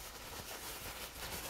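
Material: Nothing is struck.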